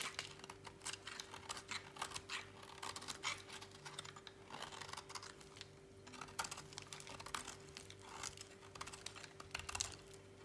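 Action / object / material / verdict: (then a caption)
scrape / bar soap cut with a knife blade / soap / none. A utility knife blade slices and scrapes a thinning slab of dry, solid white bar soap over a pile of shavings. The result is a rapid run of crisp, dry, bright ticks and crackles with almost no ring, over a faint steady low hum.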